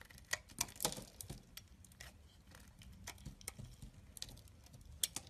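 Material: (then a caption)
Soap. A solid cream bar soap held in the hand is carved with a small knife, shavings falling away. The blade makes quiet, bright, crisp scrapes and ticks in short bursts against a soft low rustle.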